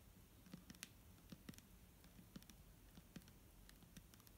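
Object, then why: Plastic bottle filled with liquid. Fingernails tap a clear plastic micellar water bottle filled with liquid, producing a quiet, irregular series of short, sharp clicks. Each tap has a low hollow thump near 200 Hz with a bright click on top, and dies away almost instantly over a soft background hiss.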